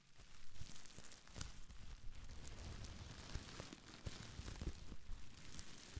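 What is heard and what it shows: A small folded bundle of clear, air-filled plastic bubble wrap is crinkled and scratched with long nails and fingertips close to the microphone. The result is a continuous, dense crinkling and rustling with a heavy low-end thump from the handling, scattered with short, bright clicks and crackles that die away instantly.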